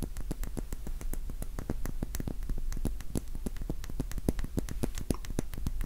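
A small, solid, cylindrical pink wax pillar candle is tapped rapidly with the fingertips and nails. It gives a steady stream of short, dry taps, each a dull low thud with a faint bright click on top and almost no ring.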